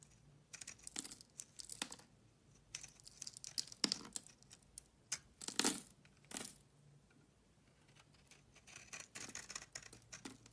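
A solid beige oval bar of soap, held in the hand, is shaved with a metal utility knife blade, sending powder and flakes off its surface. Quiet, dry, bright scraping strokes come in quick crackling bursts, with a few louder rasping cuts in the middle and a softer run of small scrapes at the end.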